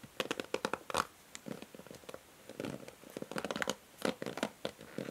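Long nails scratch and strum across the ball-tipped plastic pins and along the white cushion pad of a pink plastic paddle hair brush held by its handle. The result is quiet bursts of quick, dry plucking ticks and raspy scratches with brief pauses between them, each click dying away almost instantly.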